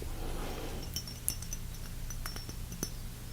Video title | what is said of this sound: *BINAURAL ASMR* Aftershave sounds (Tapping, liquids, spraying & Soft Spoken) | It's glass with just a tiny little plastic stopper top